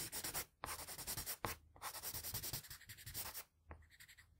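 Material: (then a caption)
Paper. A plain blue wooden graphite pencil, held low and angled, shades the cheek on a flat sheet of drawing paper with rapid strokes. It makes a bright, dry scratching hiss that pulses with each stroke, broken by short pauses. The strokes grow quieter and lighter near the end.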